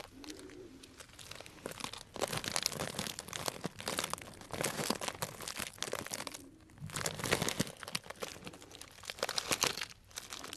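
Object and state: Cellophane bag of dried tea crinkled.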